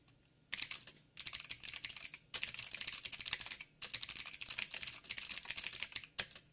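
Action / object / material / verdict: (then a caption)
tap / mechanical keyboard with plastic keycaps / plastic / none. Fingertips of both hands type quick taps on a backlit mechanical keyboard with black plastic keycaps on a silver frame and a hollow housing. Bright, sharp clicks come in fast bursts separated by brief pauses, and each keystroke dies away almost instantly with little low end.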